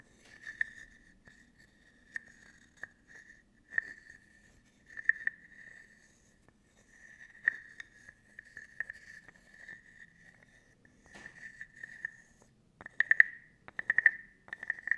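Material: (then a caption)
Wood. A small hollow carved wooden frog guiro, held in front of the microphone, has its ridged back slowly scraped with a wooden stick. Short, irregular ratcheting rasps carry a hollow, croak-like resonance around 1.9 kHz with a faint bright edge, separated by pauses. Near the end the scrapes come quicker and louder.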